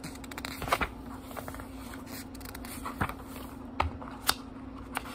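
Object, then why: Paper pages of a small book. Fingertips flip and riffle the cream paper pages of a small book with a brown leather-like cover, lying open on a wooden table. Soft papery rustles are punctuated by a few sharper, bright page snaps. A steady low hum runs underneath throughout.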